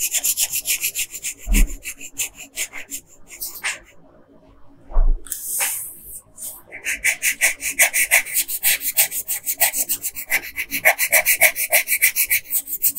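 A yellow wooden colored pencil, held in a hand with long pink nails, scratches across a flat printed paper coloring sheet in short strokes. Dozens of quick, bright, rhythmic scratches are heard, with a quiet pause around the middle and two dull low thumps near 1.5 and 5 seconds, before steady fast scratching resumes to the end.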